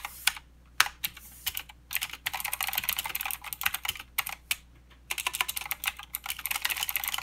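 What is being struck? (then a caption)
Mechanical keyboard with plastic keycaps. Fingertip typing with both hands on a mechanical keyboard with plastic keycaps and clicky blue switches. Bursts of sharp, bright clicks arrive in quick runs, separated by short pauses, over a quiet background. Each keystroke is crisp and dies away almost instantly.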